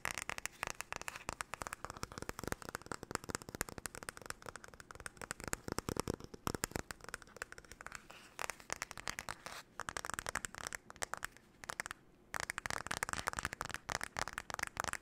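The solid wood handle and back of a light wooden paddle hairbrush are tapped and scratched with long nails. A fast, dense flurry of dry, clicky taps and scratches carries a woody knock around 450 Hz. Each tap stops almost at once, with only brief pauses in the stream.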